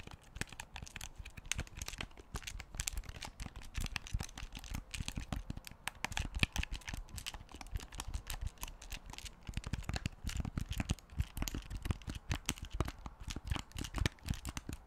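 A large black plastic Wii U gamepad is held close in front of the microphone while fingertips rapidly tap its shell and click its buttons. The result is a steady, dense stream of short, dry clicks and taps with a soft low thump beneath each one and bright plastic edges. Every hit dies away almost instantly.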